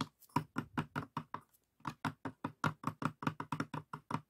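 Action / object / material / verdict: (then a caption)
tap / light pine wooden box with compartments / wood / none. An open light pine wooden box with compartments and small glass dishes inside has its inner walls and dividers tapped and knocked with the fingertips. About 21 short, dry, hollow knocks come in an uneven rhythm with a brief pause after the first few. Each knock is low and woody with almost no ring or brightness.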